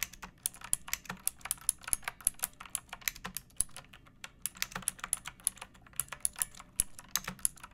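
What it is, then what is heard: Plastic mechanical keyboard. Long painted nails and fingertips type steadily on a pink plastic mechanical keyboard with round backlit keycaps and a hollow body, resting on a wooden surface. The keystrokes come as quick, bright, clicky taps with a faint hollow low thump beneath them. Each tap is dry and stops at once, with no ringing.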